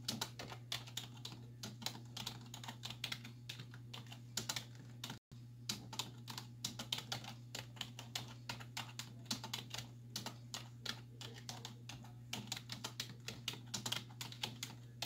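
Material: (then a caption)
Plastic. Both hands with long white nails type quickly on a black plastic desktop keyboard with hollow keys, striking with fingertips and nail tips. The result is a rapid, dense stream of short, bright, clacky taps over a steady low hum, with a brief moment of silence just past the five-second mark.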